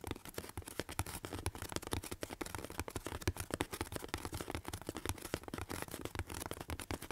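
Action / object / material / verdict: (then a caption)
tap / corrugated cardboard box / cardboard / none. A hollow corrugated cardboard box is held above the face while both hands scratch and tap its side with fingertips and nails. The result is a rapid, continuous stream of short, dry taps and scratchy rustles, with a hollow low thump beneath the crisp bright scraping and almost no ring after each hit.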